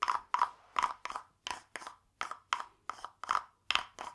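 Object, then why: Carved wooden frog guiro. A small hollow carved wooden frog guiro, painted glossy green with a ridged back, is held in one hand and scraped along its ridges with a green wooden stick. The result is a steady series of short, dry, ratchety rasps separated by brief silences. Each rasp has a woody, hollow tone centered around 1 kHz with a bright edge.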